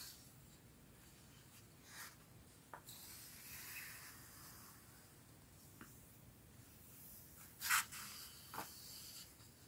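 A hand with long dark-painted nails turns and brushes the smooth illustrated paper pages of a large, thick, solid red hardcover storybook lying open on a striped tablecloth. Soft, airy paper rustles and rubs are broken by a few crisp page flicks, with the sharpest, brightest flick near the end.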